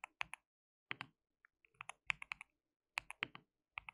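Fingertips of both hands type continuously on a white mechanical keyboard with plastic keycaps. About 17 short, bright clicks and clacks come in uneven bursts with brief pauses between them. Each keystroke is crisp and dies out almost instantly.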